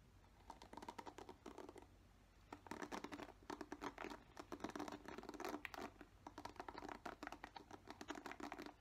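Fingernails tap and scratch the plastic bristles of a black plastic paddle hairbrush, making quiet, dry, rapid clicks and scrapes. The sound comes in dense bursts with a brief lull around two seconds in, then picks up again with busier, louder scratching.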